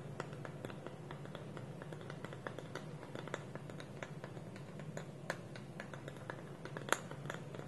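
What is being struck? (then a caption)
Small wooden bowl with lid. Fingertips and nails tap the side of a small, hollow, dark wooden bowl with a wooden lid. Quiet, dry, short clicks fall in a steady, irregular stream over a soft low hum, with little ring after each tap and one sharper, louder tap near the end.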